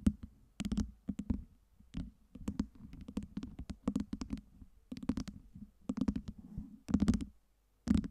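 Long nails tap the side faces of a tower of small solid acrylic light-up LED ice cubes. The result is a run of quick, dry clicks and taps in irregular clusters, each with a low hollow body around 200 Hz and a sharp bright edge that dies away almost at once.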